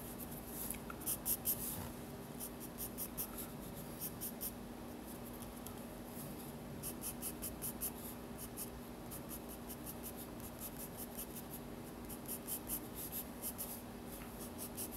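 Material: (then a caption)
Paper. A pencil held low scratches strokes near the bottom of a drawing on the white paper page of a spiral sketchbook. Quick bursts of bright, papery scratching come in clusters over a quiet, steady low hum.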